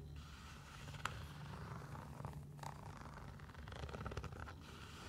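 Long nails scratch along the synthetic mesh fabric upper and laces of a single hollow athletic sneaker. The result is a quiet, raspy scraping texture over a steady low rumble, broken by a few sharper, brighter ticks and scritches.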